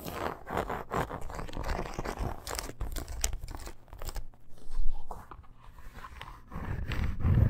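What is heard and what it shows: Long nails scratch quickly across a red faux leather bracer with an embossed snake pattern, metal studs and grommets, lying on fur. The result is a dense, irregular run of rough, crunchy scraping with a heavy low rumble, briefly thinning out near the middle before building again at the end.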